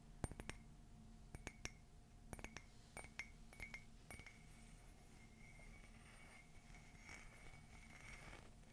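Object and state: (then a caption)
Ceramic coffee mug. Fingernails tap a hollow, empty black matte ceramic mug with a white rim and a gold "Love is Magical" print. About sixteen quick, bright clinks come in small bursts over the first four seconds, each dying away almost at once. A faint, soft rustle fills the rest of the clip.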